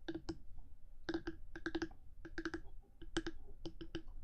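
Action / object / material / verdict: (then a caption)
tap / hard plastic microphone body / plastic / none. Long nails tap and click on top of the hard black plastic body of a 3Dio binaural microphone, first with one hand and then with both. It sounds like quick, dry clicks in irregular bursts separated by short pauses, each click dying away almost instantly.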